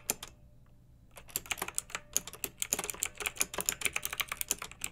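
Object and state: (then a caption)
Plastic mechanical keyboard being typed on. Fingertips and long nails type on a pink backlit plastic mechanical keyboard with round, typewriter-style plastic keycaps. A couple of sharp clicks are followed by a brief pause, then a quick, steady stream of bright, crisp keystrokes that stop dead with almost no ring.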